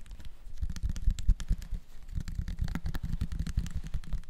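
A small clear bottle with a red plastic screw cap and a label, apparently holding some contents, is held in both hands and tapped with the fingertips. Rapid, soft, muffled low thuds come in a continuous irregular patter, with faint clicky ticks on top.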